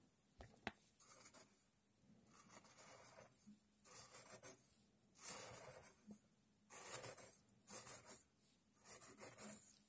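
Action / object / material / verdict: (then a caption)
scrape / loose coarse sand in a tray / sand / none. A thin red stick pokes and scrapes through a tray of loose, coarse sand while coins sit still at the bottom edge, untouched. A couple of sharp taps open the clip, followed by a series of bright, gritty rasping strokes separated by brief quiet pauses.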